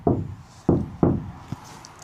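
Knuckle knocks on a bare sheet-steel body panel of a MAN TGE van, wiped clean with rubbing alcohol, as a "before" test ahead of applying sound-deadening mat. Three loud, low, hollow knocks, each with a short boomy ring, are followed by a fainter tap. The undamped panel sounds resonant and drummy.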